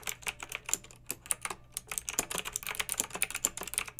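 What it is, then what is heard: Plastic mechanical keyboard. Long red-nailed fingertips type on a pink plastic mechanical keyboard with round retro plastic keycaps and blue backlight. A quick, steady stream of sharp, bright clicks and clacks comes with almost no low end, and each keystroke dies away at once.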